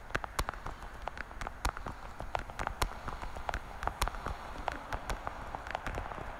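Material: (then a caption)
Plastic. Long, dark-painted nails tap rapidly across the lids of a small, hollow, translucent blue plastic weekly vitamin and pill organizer case held horizontally. The result is a steady stream of sharp, clicky plastic taps with a hollow midrange tone, set over a low, rumbling background.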